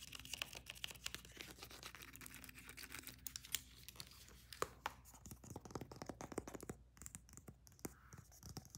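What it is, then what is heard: Leather weightlifting belt. Long fingernails rapidly tap and scratch the surface of a thick black leather weightlifting belt with white stitching and punched holes, held flat in the hands. The sound is a dense run of quick, dry, bright clicks and scratchy strokes over a faint low steady hum, each tap dying away at once.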